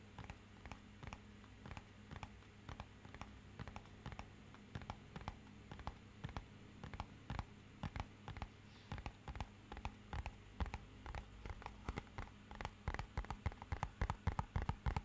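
A fingernail taps rapidly and irregularly on the faces of a small, rigid, hollow, matte-black rectangular cardboard box. Each tap is a short, dry click that dies away almost instantly, heard over a steady low hum. The taps grow louder and come faster toward the end.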